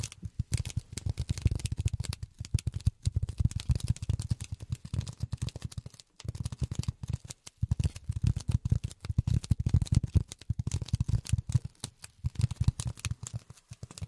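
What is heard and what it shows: Polyethylene foam is tapped rapidly with silicone rubber finger pads. The result is a dense stream of soft, dull, low thuds with almost no ring, broken by brief pauses around 3, 6 and 7.5 seconds.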